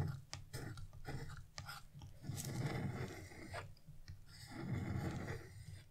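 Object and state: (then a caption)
Scratch-art paper being scraped. A hand with blue nails scrapes a flat carving chisel across wax-coated scratch-art paper, removing the black coating from a large colored moon area. Repeated dry, crunchy scraping strokes come in uneven bursts with a heavy low rasp and brief brighter scratches, separated by short quiet pauses.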